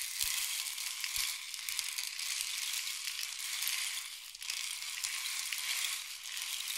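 A long, hollow painted wooden rain stick is held upright on a diagonal and tilted so the pellets inside pour down its length. This produces a steady, bright hiss of fine pattering with almost nothing in the low range. The sound dips briefly around the middle before the flow continues evenly.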